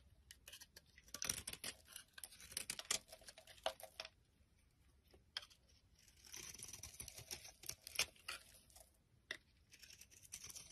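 A palm-sized, solid, translucent amber bar of soap is held in the hand and repeatedly shaved and scraped with a utility knife blade, with flakes falling off. The result is a quiet series of dry, bright, crackling scrapes in short bursts, with brief pauses between strokes.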